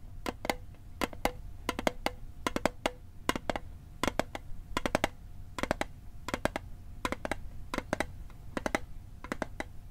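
Fingertips tap the lid of a small, hollow, rectangular metal Altoids mint tin held over a microphone. Sharp, dry clicks land in quick clusters of two to four, each with a faint, very short tinny ring around 600 Hz, over a steady low background rumble.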